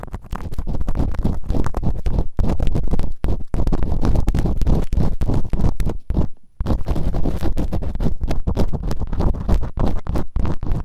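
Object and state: Silicone ear microphone being scratched.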